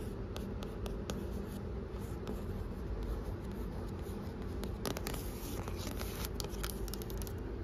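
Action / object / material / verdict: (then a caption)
scrape / glossy printed cardboard book cover / cardboard / none. Long painted acrylic nails quickly tap and scratch the glossy printed cardboard front cover of the children's book "Dog Zombies Rule (for now)," a solid book standing on a bookstore shelf, with fingertips resting on it. Sharp, bright clicks and dry scratching strokes come in a fast, uneven stream over a steady low rumble.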